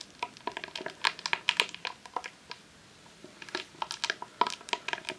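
A long, hollow roll of vinyl adhesive sheet in a clear plastic sleeve lies on a lace tablecloth and is tapped and scratched with long nails. Many quick, bright crinkly ticks and scratches come in two busy bursts with a short quiet gap between. Each sound dies away almost at once, with nothing low underneath.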